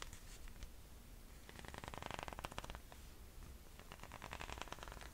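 A chunky sandal with silver and black leather straps and a thick white rubber tread sole is held up while fingernails tap across the straps and sole. The result is quiet, rapid, dry clicking taps in clustered bursts over a low steady hum.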